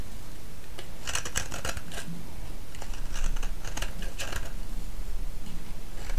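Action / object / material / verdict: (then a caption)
scrape / bar of soap shaved with a metal blade / soap / none. A solid orange soap bar held in the hand is shaved with a metal blade. Crisp, bright scraping strokes come in quick, uneven bursts over a steady low hum, growing a little louder in the second half.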